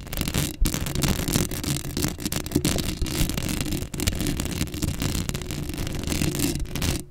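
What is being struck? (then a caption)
Metal mesh microphone grille. Long acrylic nail tips scratch across a black metal mesh microphone head, producing a dense, continuous raspy scraping with a heavy low rumble underneath and a bright, gritty top. The scratching runs almost unbroken for about seven seconds, with only brief pauses near 0.6, 3.9 and 7.1 seconds.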